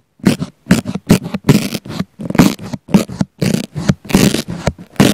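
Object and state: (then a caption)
Foam sponge being poked and scratched. A wooden flamingo-topped cocktail pick pokes repeatedly into a round pink foam sponge near a small black mic embedded in it. The result is a quick string of separate, close-up scratchy, crackling bursts with a deep, muffled thump under each one and a faint bright hiss on top.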